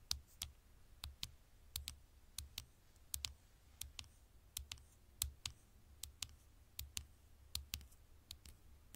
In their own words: 6:15 - 6:49 super slow tapping on the screen